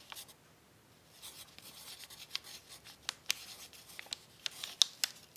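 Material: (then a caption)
Paper. A pencil tip rubs and scratches across a crumpled brown paper sheet lying on a tablecloth during writing. It makes quiet, bright, papery scraping with soft crinkles, punctuated by about eight sharp ticks in the second half.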